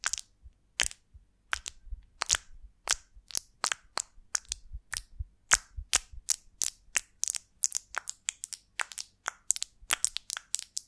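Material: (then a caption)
Beeswax. Long nails tap and scratch the wax cells of a large golden beeswax honeycomb on a twig, held in both hands. About three dozen sharp, dry, crackling clicks come in uneven bursts, bright and high with almost no low end, each dying away instantly.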